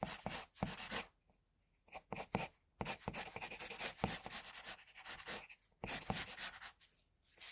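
A pencil tip scratches short lines on flat white drawing paper, shading the cheek and jaw of a drawing. Bursts of dry, bright scratching come in quick strokes, broken by brief silent pauses between passes.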